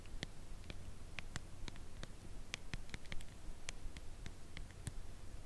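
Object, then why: Cardboard chocolate bar box. Long nails tap along the side edge of a full cardboard chocolate bar box held at a tilt. The taps are soft, slow, and irregular: short, bright clicks that die away quickly over a steady low hum.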